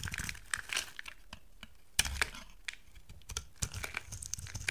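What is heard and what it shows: A utility knife blade shaves flakes from a solid rectangular white soap bar with a gold-painted surface. The cuts make dry, bright crackling and scraping sounds, with sharp crisp snaps between quieter rustling stretches.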